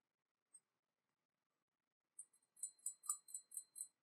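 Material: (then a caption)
Porcelain. Fingers tap on a porcelain teapot painted with an Eastern dragon, its spout shaped like a fish. A single faint tap is followed, after a pause, by a few soft taps and then six louder, evenly spaced taps, each giving a light, high, glassy clink that dies away quickly. The teapot is sturdier than it looks, and the tapping has no effect on it.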